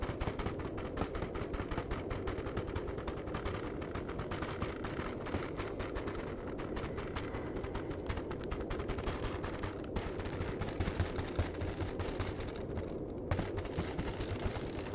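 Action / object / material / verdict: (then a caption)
tap / flat cardboard chocolate box / cardboard / none. Fingertips rapidly tap the front face of a flat cardboard chocolate box. The result is a steady, fast, dull drumming that stays low and muffled throughout, with almost no bright content and each tap dying away quickly.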